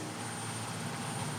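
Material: Nothing is struck.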